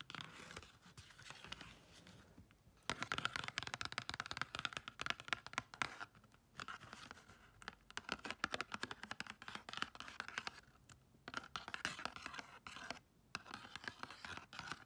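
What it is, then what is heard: Cardboard gift box. Long nails rapidly scratch and tap the lid of a patterned cardboard gift box with an embossed checker design and gold foil. The result is a dense stream of dry, bright scratches and crisp clicks with no ring, broken by short pauses.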